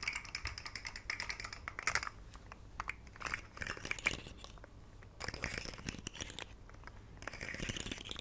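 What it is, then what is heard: Plastic articulated fidget slug toy. A rainbow segmented plastic fidget slug with hollow jointed segments is held by the fingertips and flexed and shaken. Its segments make rapid, dense, bright clicking and rattling in irregular bursts, with brief quieter gaps between flurries.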